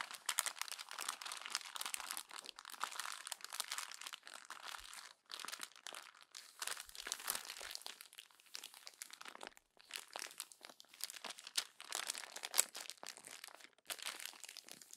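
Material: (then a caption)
Glossy paper. A hand squeezes the crumpled pages of a glossy paper magazine at the spine as it lies on a table. The result is a dense, continuous crinkling and crunching that is bright and papery and comes in quick, dry bursts with brief pauses.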